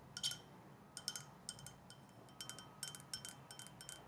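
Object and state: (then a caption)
Glass tumbler. Long dark nails tap a clear glass drinking tumbler, held in one hand, with a little liquid in the bottom. Quick, bright, high clinks come in small clusters, each dying away almost at once over a soft background hiss.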